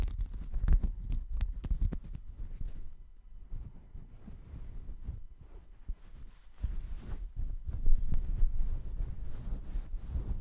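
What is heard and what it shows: A checkered woven textile mat held close to the microphone is scratched and rubbed with fingers. It makes a dull, low, irregular rustling and thumping, with a quieter, softer stretch in the middle before the rubbing grows louder again.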